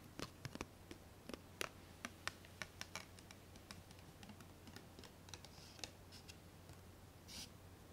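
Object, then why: Small ribbed glass jar lid. A small, round, ribbed glass jar lid, solid and thin, is held alone in both hands and tapped and clicked with long painted nails. Quick, sharp, bright clicks and taps come at an uneven pace over a steady low hum, each dying away almost instantly. A brief soft brushing sound follows near the end.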